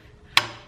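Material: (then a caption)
Steel. A heavy hammer strikes an installer kit to drive a new steel wheel bearing into a 1995 Impala SS, landing one sharp, bright metallic hit with a short ring. The solid sound means there is no more room to go and the bearing is fully seated.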